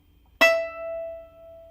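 A single pluck of a new violin E string gives a bright note near 660 Hz with clear overtones. The note rings on for well over a second and fades out gradually, the long ring of a healthy string.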